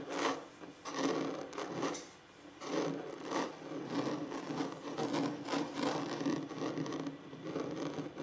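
Fingers or nails scratch across a wooden table surface near the end of a relaxing tapping-and-scratching session. Repeated dry, raspy rubbing strokes swell and fade, with a broad scratchy texture centered in the mids and little deep low end. The scratching sounds steady and ordinary, with no ringing after each stroke.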